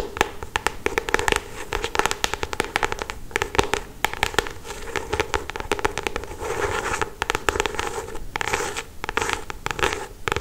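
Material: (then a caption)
Paper. Long acrylic stiletto nails tap and scratch across the glossy paper cover of a paperback novel in close-up. Rapid, crackly clicks and scraping strokes run continuously throughout, with a steady hum-like band around 430 Hz under bright, sharp transients.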